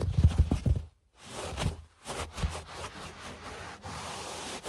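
Fingertips and short nails of both hands scratch and scurry across a low-pile beige carpet toward the camera. The result is soft, muffled, bassy scratching and patting, with brief silences near 1 and 2 seconds, then a steady, quieter rustling hiss of the fabric pile.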